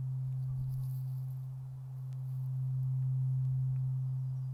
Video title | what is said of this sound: Japanese Gardens | give it one good ring and listen to it ring out